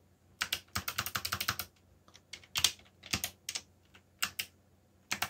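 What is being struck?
Mechanical computer keyboard with plastic keycaps.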